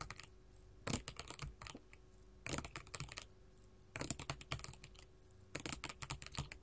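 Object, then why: Sheet of small glass mosaic tiles tapped with metal finger claws. Long gold metal filigree finger claws tap a solid, flat sheet of small colored glass mosaic tiles resting on a table. Quick, bright clicking taps come in four bursts with short pauses between them. Each tap is dry and stops almost at once, with a faint low hum underneath.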